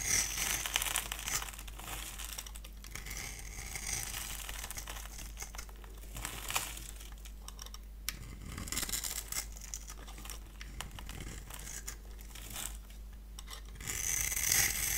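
A solid, dry, cream-colored bar of soap held in one hand has its surface cut into a grid with a handheld multi-blade cutter, then shaved off in crumbly strips. Dense, bright scratching and crinkly scraping run throughout over a faint, steady low hum, growing louder near the end.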